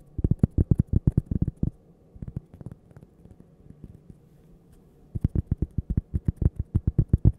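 A small, thin, solid, toaster-shaped cork coaster is held up near the microphone and tapped and scratched with long painted fingernails. Rapid bursts of dull, low, muffled taps with no ring open the clip, fade to softer, sparse tapping and scratching in the middle, then return as quick, steady taps.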